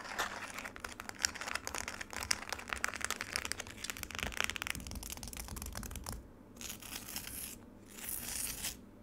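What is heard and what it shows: Long nails tap and scratch the icy surface and edges of a frozen lemonade slab in a black plastic tray. A dense run of bright, crackly scratches and sharp little taps fills the first six seconds. It then gives way to two softer, hissy scraping passes separated by short pauses.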